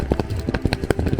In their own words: This is a real cacao bean. If you shake it, you can hear it inside.